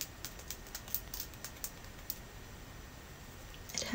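A solid clear quartz crystal point, about a hand's length, is held upright in one hand and tapped with the long natural nails of the other. Light, crisp clicking taps come in an irregular series over a faint steady hiss, with each tap dying away almost at once.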